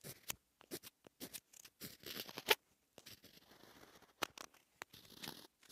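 A pointed wooden stick scratches handwriting strokes through the black coating of a flat sheet of rainbow scratch-art paper, leaving colored lines. It makes short, dry, bright scraping strokes with brief pauses between them, plus one sharper, louder scrape near the middle.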